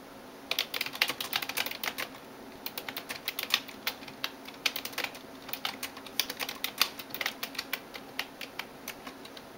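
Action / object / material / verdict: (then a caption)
tap / plastic computer keyboard keys / plastic / none. A hand types rapidly on a backlit plastic computer keyboard with fingertips and nails, producing quick, bright clicking taps in irregular bursts. There are short pauses between flurries, and each tap dies away almost instantly, with no low-end weight.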